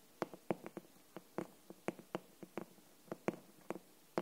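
Long nails and fingertips tap the front cover of a glossy green hardcover book with paper-covered board, held upright. Short, dry taps come at an uneven, unhurried pace, each a brief hollow knock centred in the low mids around 344 Hz with a faint bright click on top. Each tap dies away almost at once against a quiet background.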